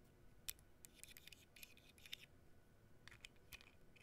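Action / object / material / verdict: tap / flat printed cardboard cutout / cardboard / none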